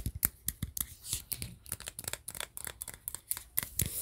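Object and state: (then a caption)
Metal tin can, fingernail tapping and scratching. Fingernails tap and scratch on the shiny metal lid and sides of a cylindrical tin can with a wood-grain printed wrap, held close to the mic and apparently empty. A rapid series of short, crisp clicks and scrapes follows, with bright, high-pitched ticks over a soft, hollow low thud.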